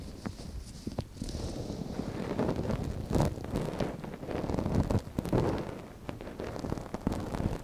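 A gloved hand holds the soft silicone ear of a binaural microphone folded while a thin wooden stick scratches inside its canal. The result is close, muffled rustling and scraping with many small soft scratches over a low, rumbling bed.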